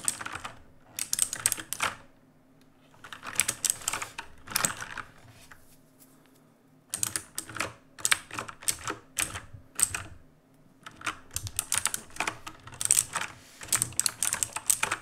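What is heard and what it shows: Fingertips, with hands crossed over, type in bursts on a black RGB-lit mechanical keyboard with plastic keycaps. Quick, bright clacks with very short ring come in clusters separated by brief pauses.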